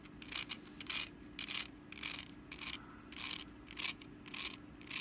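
Long nails scratch the woven sides of a small, hollow, empty orange wicker pumpkin basket base with its lid off. Short, bright, rasping scrapes come in quick, uneven bursts, each fading almost at once, over a faint steady low hum.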